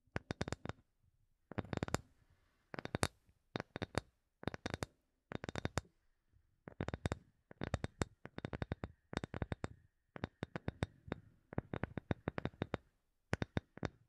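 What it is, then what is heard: Wooden object. A wooden object is tapped with quick fingertip-like taps in short, rapid bursts separated by brief pauses. Each tap is dry and short, with a soft low thump under a crisp, bright click and no ring.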